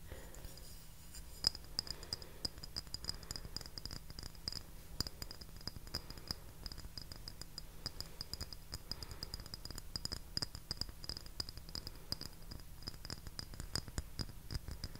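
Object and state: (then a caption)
Porcelain saucer. A small round porcelain saucer with a pierced lace rim and floral centre, solid and empty, is held in both hands close to the mic and tapped and scratched with fingertips and short nails. Quiet, rapid clicks and scratches continue throughout, each with a faint high, bright ping that dies almost at once, over a steady low hum.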